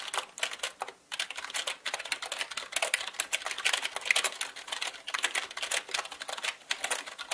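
Fast typing with the fingertips of both hands on a full-size black plastic mechanical gaming keyboard with plastic keycaps on a plastic and metal body. The keys click in a rapid, dense stream of short, bright taps with almost no ring and no low end, with a brief pause near the one-second mark.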